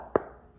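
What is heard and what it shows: A single tap on a lifted travertine floor tile gives a short, dull knock centred around 420 Hz that dies away almost at once. The tile sounds hollow, marking it as one of four problem tiles.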